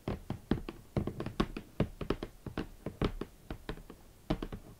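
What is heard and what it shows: Long nails and fingertips tap near the top edge of a large, closed, hollow red cardboard Valentino boot box. The result is a quick, irregular run of soft, hollow thuds with a low body and brief crisp clicks. Each tap dies away almost at once.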